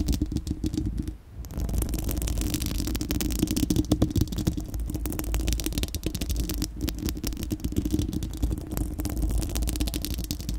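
Long acrylic nails on both hands scratch a bare, round, hollow-dome steel-mesh microphone grille. The result is a continuous, dense scraping rumble, heavy in the low end with a hum-like band near 300 Hz and a faint bright hiss on top. The sound briefly drops out around the one-second mark, then resumes at a steady level.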